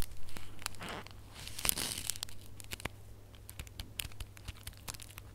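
Bare fingertips and nails scratch and squeeze a small red holographic foil gift box ornament tied with a gold ribbon. The result is a busy run of crinkling, tearing-like foil rustles and sharp, bright ticks of uneven rhythm over a steady low hum.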